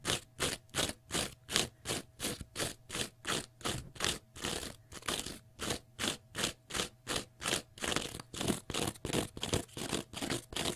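Fingernails scratch across the face and edges of a small rectangular block of pale green porous cellulose sponge in quick, steady strokes. Each stroke makes a short, bright, raspy, crunchy scrape, with brief gaps between them and a faint low hum underneath.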